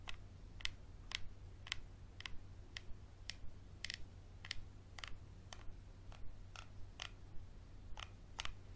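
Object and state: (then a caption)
Textured glass bottle. A small, empty, textured glass bottle with a dark cap is held in the hand and scratched with a Sharpie marker. About 16 short, bright, clicky scrapes come at an uneven, moderately quick pace, each ringing around 2 kHz. A steady low hum sits quietly underneath.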